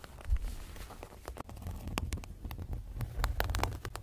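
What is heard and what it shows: Fingertips with short nails tap and touch the clear vinyl/PVC zippered cover, with red fabric trim, of a closed six-ring planner lying flat on a bed, over a printed card inside. A quick, irregular run of short dry taps gives soft, dull low thumps with light crackly plastic clicks on top. Each tap dies away almost instantly.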